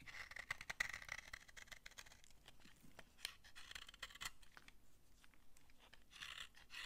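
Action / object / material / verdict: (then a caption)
scrape / laundry soap bar / soap / none. A utility knife scrapes dry shavings off an old, solid brown laundry soap bar held in the hand. A series of quiet, dry, crunchy scrapes with a bright rasp comes in short, uneven strokes, loudest in the first second.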